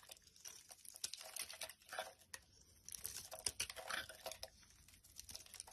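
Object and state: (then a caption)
Glycerin soap bar being carved. A utility knife blade carves and scrapes the surface of a solid, translucent amber-yellow glycerin soap bar held in the hand, breaking off chunks and curls. The result is a quiet, bright run of crisp scraping, crackling cuts and small snaps with almost no low end.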